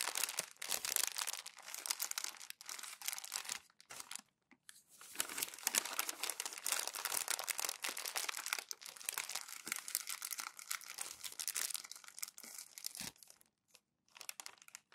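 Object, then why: Thin glossy magazine paper. Thin glossy magazine pages are crumpled one by one with fingertips and palms on a white desk. Dense, bright crackling and crinkling fills the clip, almost all high-pitched with no low end. Brief quiet gaps fall near 4 seconds and 13 seconds.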